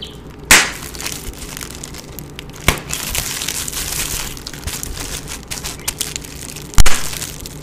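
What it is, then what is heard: Plastic bubble wrap being popped. Clear, air-filled plastic bubble wrap is held in both hands while the fingers squeeze and pop its bubbles. Sharp, bright pops stand out from a steady crinkling of the plastic film and a low background rumble, with the loudest burst near the end.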